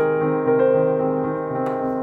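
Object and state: Nothing is struck.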